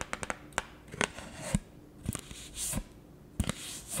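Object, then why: Pulpboard beer coaster scratched and tapped with fingernails. Long acrylic nails scratch and rub along the edge and faces of a round, thin, solid printed pulpboard beer coaster held in both hands. About eight sharp, dry clicks stand out between softer, hissy scraping swells.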